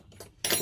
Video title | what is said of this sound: Xiaomi Mi 9 PARAMPARÇA! TÜRKİYE'DE İLK teknik özellikler! | แต่มันฟังดูเหมือนเสียงเหล็กที่อยู่ภายในกระจก